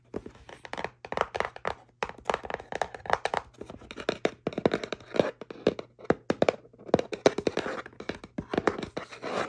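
Fingertips and long nails tap and scratch the top and front of a small, hollow kraft cardboard box for bamboo cutlery. Rapid, irregular bursts of short, dry, hollow taps and soft papery scratches die away almost instantly, with brief pauses between clusters. A faint steady low hum runs underneath.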